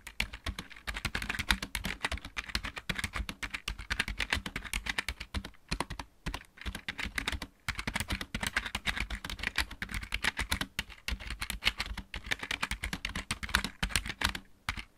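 Fingertips of both hands type steadily on a backlit plastic computer keyboard with mechanical keys. The sound is a dense run of sharp, bright clicks with a low thump under each keystroke. Brief pauses come near 5.6, 6.2 and 7.6 seconds.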